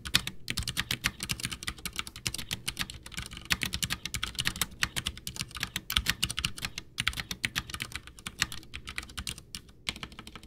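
Both hands type with their fingertips on a full-size, backlit, white plastic Ducky One 2 mechanical keyboard with Cherry MX Brown switches, its hollow case resting on a desk, pressing and tapping the keys. A steady, rapid stream of short, bright clacks with a soft low thud beneath each press runs throughout, with only brief pauses. Each keystroke dies away almost instantly.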